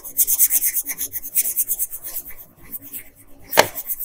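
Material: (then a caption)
Paper. A blue wooden colored pencil, held in a hand with long nails, rubs across a flat printed paper coloring sheet in short strokes. It makes quick, rhythmic, bright scratchy rasps that soften and thin out partway through. A sharper, louder scrape stands out near the end.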